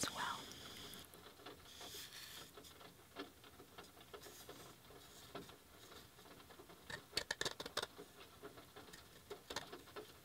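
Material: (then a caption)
Wood. A handmade wooden coaster is gently tapped with soft, light taps that have a bright, dry click and almost no ring. The taps are scattered and quiet at first, then come in a quicker cluster of sharper clicks near the end.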